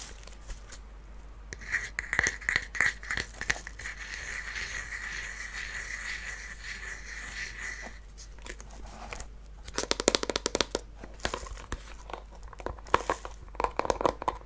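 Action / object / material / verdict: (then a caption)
tap / small wooden chest with metal fittings / wood / none. A small hollow wooden mini treasure chest with faux-leather straps and metal fittings is held in the hands and tapped and scratched with fingernails on its sides and ends. A steady, bright scratching hiss runs through the first half, then gives way to clusters of quick, dry, hollow taps with short ringing knocks toward the end.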